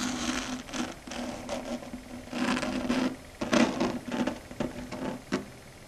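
Long red stiletto nail tips tap and scratch a flat, solid dark grey chalkboard surface. Short scratchy bursts and light taps come in uneven clusters over a faint steady low-mid tone, with brighter, louder scrapes near the middle and end.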